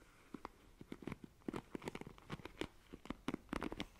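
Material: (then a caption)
Plastic. Long nails scratch across the plastic bristles of a black plastic paddle hairbrush, making about seventeen quick, dry, crackling scrapes and clicks. Each one is short and stops at once, with a low-mid body and bright, brittle edges over a quiet background.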